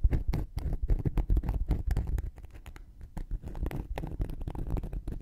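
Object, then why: Cork coaster scratched with a thin wooden needle. A thin wooden knitting needle scratches and pokes the surface and edge of a round, flat, solid cork coaster held in one hand. The result is a rapid, uneven run of dull, low, muffled scrapes and taps with no ring, easing off briefly in the middle before picking back up.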